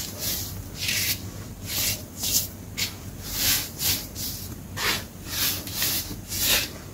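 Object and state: Loose baking soda powder being crumbled.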